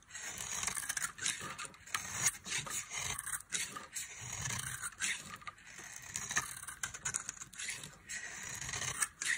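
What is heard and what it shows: A metal knife blade carves and scrapes flakes off the edge of a solid, palm-sized oval bar of dry pink soap held in one hand. Short, dry, bright scraping strokes come in quick, uneven bursts with a crisp, crumbly texture and almost no low end.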